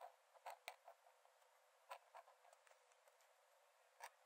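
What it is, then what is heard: Paper sketchbook page scratched by a metal nib. A metal nib in a wooden dip-pen holder scratches thin lines onto the cream paper page of an open sketchbook lying flat on a dark desk while drawing. About nine short, dry, scratchy strokes stand apart from a faint hiss, with quiet pauses between them. The sound is thin and bright with no low end.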